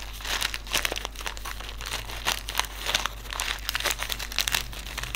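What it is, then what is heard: Silica gel desiccant packet. Fingertips crinkle and rub a small white silica gel desiccant sachet filled with silica beads, then hold it up. The result is a steady run of bright, dry crinkling with sharp little crackles and brief louder bursts over a faint low hum.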